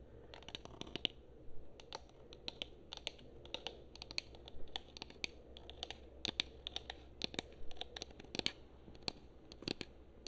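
Long nails tap and scratch the back and top of a hollow black and blue plastic PS4 controller, producing a dense stream of short, sharp clicks mixed with scratchy rasps. The clicks are bright and dry and die away almost instantly, over a low, steady hum.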